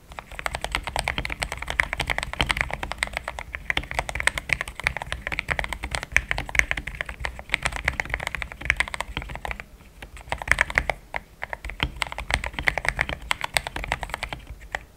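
A pink-framed compact mechanical keyboard with a hollow case, polycarbonate plate, linear switches and thick cream XDA plastic keycaps is typed on with fingertips in steady taps. Quick, dense clacks with a bright, mid-high click and a soft low thud run throughout, each dying away almost instantly, with a short lull near the middle.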